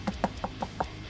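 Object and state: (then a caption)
Hollow guitar body. Five quick knuckle knocks on the body of a Korean-made Danelectro 59M NOS+ electric guitar, with a poplar centre block and a Masonite top and back, give short, dry, woody taps with a low hollow resonance around 200 Hz. Each knock dies away almost instantly, and the sound marks the guitar as definitely a hollow body.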